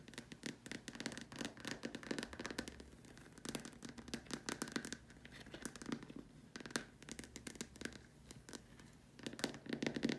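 Long nails tap and scratch the curved sides of a large, empty, white hollow plastic dome lamp shade. Quick, dry clicks and scratchy strokes come in dense clusters with short pauses between them. Each has a faint hollow body and almost no ring, set against a quiet background.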